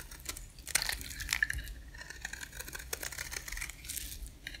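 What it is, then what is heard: Dry soap bar being scraped. A box-cutter blade shaves flakes off a rectangular, solid, dry white bar of soap held in one hand. The result is a quiet run of crisp, bright scraping and cutting strokes with brief sharp ticks, a faint squeaky tone near 1.7 kHz, and a low rumble underneath.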